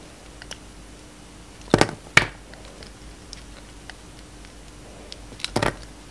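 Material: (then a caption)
Soap. A solid blue and white bar of soap held in the hand is carved and shaved with a box-cutter blade. Three short, crisp scraping and cutting bursts stand out against a quiet background, with faint ticks and scrapes between them. Each cut is bright and dry, with almost no ring.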